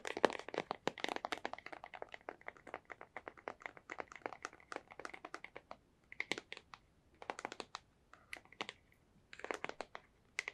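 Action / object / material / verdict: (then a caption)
tap / small cardboard box / cardboard / none. A small, hollow, white printed cardboard product box is held in one hand and tapped with long white-painted nails. Fast, dry clicks run in dense bursts with short pauses between them. The clicks have a papery, hollow crack centered in the mids, bright edges, and almost no low end or ring.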